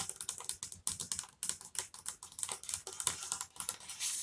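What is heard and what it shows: Long-nailed fingers capped with plastic LED finger lights quickly tap and scratch a flat, solid wood-grain tabletop. The result is a rapid run of about 24 light, crisp clicks and scratches, mostly bright and high-pitched, that die away almost instantly.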